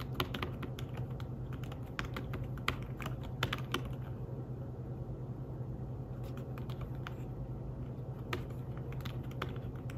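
Fingertips type on the keys of a thin, flat, grey fabric-covered folio keyboard for a tablet. The result is a steady run of soft, short tapping clicks with a few brighter accents. The clicks sit over a constant low hum centered near 125 Hz.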